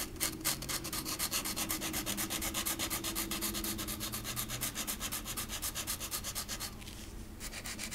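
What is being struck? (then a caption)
Thin flat wooden cutout ornament. A green felt-tip marker is rubbed quickly back and forth on the rocker of a small, flat, thin, solid wooden rocking horse ornament held by the fingertips. The result is a steady, bright, scratchy rubbing of about four short strokes a second, with a faint low hum underneath. Near the end the strokes pause briefly into a softer hiss before resuming.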